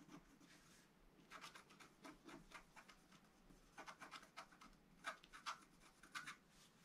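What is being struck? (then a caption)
Black-coated scratch-art paper card. A wooden stylus scratches fine lines on the right side of a flat scratch-art card made of black-coated paper. Quiet, dry, bright scratching strokes come in short bursts, growing a little louder and crisper toward the end.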